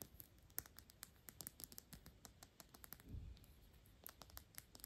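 A square, thick-walled Byredo glass perfume bottle with a black cap, partly full of liquid, is tapped and scratched with long pink nails. The result is a quick run of quiet, sharp, bright clicks with very short ring and soft scratching between them, plus a brief low thump around the three-second mark.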